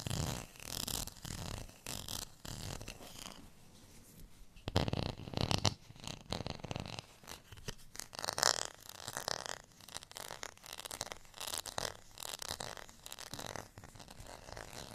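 Fingernails scratch across the ribbed texture of a thin, solid beige plastic rice paddle as it is bent slightly in the hand. The result is a dense, raspy scratching with a bright, hissy edge that comes in uneven bursts, with louder passages around five and eight and a half seconds. Each stroke stops dry, with almost no ring.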